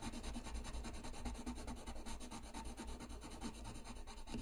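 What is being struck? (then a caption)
Paper sheet rubbed with a coloured pencil. A colored pencil scratches and rubs steadily across a flat white paper sheet lying on a desk while coloring. Rapid, repeated back-and-forth strokes create a continuous dry, gritty scratching with a low rumbling undertone and a steady, even level throughout.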